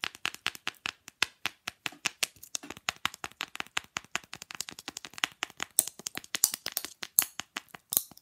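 Long glittery nails tap quickly on a small, solid, flat rectangular fridge magnet, held up, with a glossy printed image of two figures. There are around fifty rapid, sharp, dry clicks, bright and very short with almost no low end, and a few brighter, harsher taps near the end.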